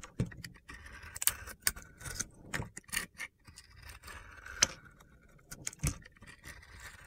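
A metal box-cutter blade shaves crunchy flakes off the edge of a hand-held white, opaque soap bar that is solid, dried and crumbly, and coated with pink and blue glitter and gold star sequins. The strokes give sharp, bright, gritty scrapes and crackles, separated by quieter, rustling pauses.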